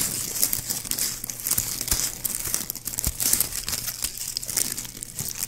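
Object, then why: Plastic ribbon gift bow. Fingertips squeeze and scratch the looped petals of a small white plastic ribbon gift bow held in the fingers. The result is a steady, bright crinkling with quick sharp crackles throughout, over a faint low hum.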